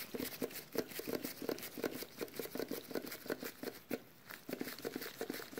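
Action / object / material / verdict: tap / small sealed metal food can / metal / none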